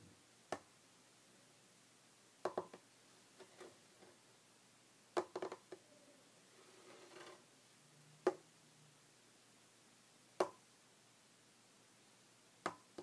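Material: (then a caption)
Wood. Short red fingernails tap on a solid, flat, light wooden tabletop, making quiet, dry clicks that stop almost at once. The taps come one at a time or in quick little clusters, separated by near silence, with a brief soft scratching stretch partway through.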